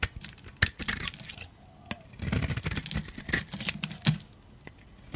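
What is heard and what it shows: A metal utility blade scrapes powdery, crunchy shavings off a solid oval beige dry soap bar with a blue coating held in the palm. Dry, crackling scrapes and sharp crunchy snaps come in quick, uneven bursts, bright at the top with a soft low rumble beneath. Short quiet gaps fall between the scraping strokes.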